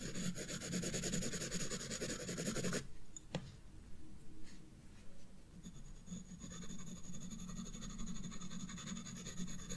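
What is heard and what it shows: A graphite pencil is rubbed back and forth on a page of a spiral paper sketchbook, shading the stem and bulb of a drawing. A dense, continuous scratchy rasp with a steady low hum and bright hiss stops abruptly near three seconds. A few faint ticks fill the quieter gap before the back-and-forth scratching resumes.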